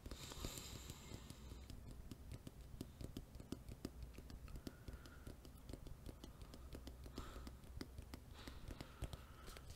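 A small, hollow, rectangular black printed cardboard retail box with a white barcode label, empty or lightly filled, is held in one hand close to the microphone and tapped and scratched with the fingertips and nails of the other hand. Quiet, rapid, dry taps give short hollow thumps with no ring, mixed with soft scratching across the surface.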